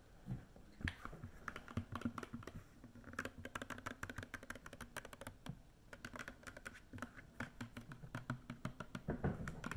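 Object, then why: Plastic body wash bottle. Long fake nails tap rapidly and unevenly on a hollow, medium black-and-green 3-in-1 plastic body wash bottle held horizontally. The taps are dry, clicky, and keyboard-like, with a dull low body and bright edges. Each tap dies away almost instantly, leaving no ring.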